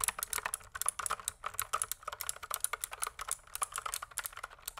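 Fingertips type quickly on a pink plastic mechanical keyboard in the foreground, producing about thirty crisp, bright clacks in an uneven, rapid rhythm. Each keystroke is short and dry, dying away almost instantly, with very little low-end thump.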